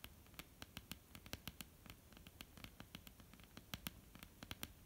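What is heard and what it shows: Long polished nails of both hands tap quickly across a flat, solid, dark wooden tabletop. About 28 short, dry clicks land in an uneven patter, each with a bright crack and a dull low thud that dies almost at once. Faint low hiss sits underneath the taps.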